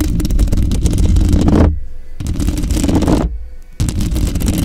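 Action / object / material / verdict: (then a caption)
scrape / metal mesh grille of a microphone / metal mesh / none. Long pink glitter acrylic nails scratch and rake across the metal mesh grille of a large dark-grey Blue Yeti USB microphone lying on its side. The result is dense, rapid scratchy friction with a heavy low rumble, broken by two brief quieter pauses before the raking resumes.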